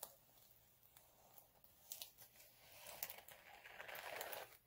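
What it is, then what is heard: Chunky glitter sheet being scratched. Both hands scratch short nails across a flat, multicolour chunky glitter sheet resting on a dark cloth. The result is quiet, dry, crinkly scratching with bright, brittle texture and sharp little ticks. It grows denser and louder toward the end before cutting off.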